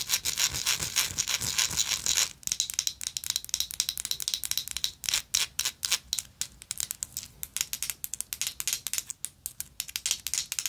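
Long nails scratch and tap a gold, textured metal lighter. A dense, continuous bright scratching runs for about two seconds, then breaks into quick, irregular taps and short scrapes. Each has a crisp, high, dry click with almost no ring and very little low end.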